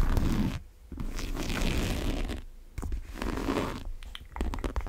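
Long nails work the top zipper of a large brown monogram coated-canvas tote and scratch across the canvas. Dense, low, rumbling scratches and zipper rasps come in uneven bursts, separated by brief quieter pauses.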